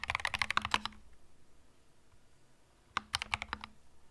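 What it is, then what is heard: Mechanical keyboard with plastic keycaps. A compact cream mechanical keyboard with plastic keycaps is typed on slowly with the fingertips. A quick run of bright, crisp key clicks is followed by a near-silent pause, then a second shorter burst of clacks. Each keystroke snaps off almost instantly.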